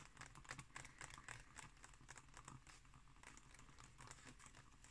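Fingertips and long nails scratch and tap across the thin, glossy printed pages of a large open illustrated book lying flat on a wooden table. Quiet, rapid, irregular taps and papery scratches come through as bright, crisp clicks over a soft, low thud from the table beneath.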